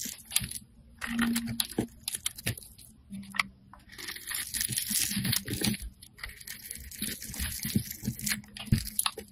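A metal blade cuts and scrapes a grid into a solid rectangular black bar of soap held in hand, and small pieces crumble off. Dense, dry crunching and scraping come in uneven bursts, with bright, hissy scratches between them.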